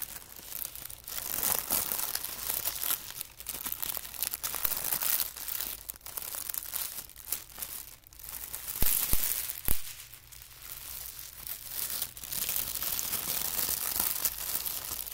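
Thin white tissue paper, folded in layered strips, is pressed and rolled with fingertips on carpet. It gives a steady, irregular stream of soft, bright crinkling and crumpling rustles. A few sharper, louder crackles stand out near the middle before it settles back into quieter crinkling.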